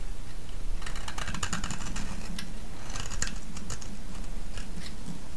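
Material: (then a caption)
Soap. A solid green soap bar held in the hand is shaved with a metal blade, and flakes crack off it. Bursts of crisp, bright scraping and crackling ride over a steady low rumble throughout.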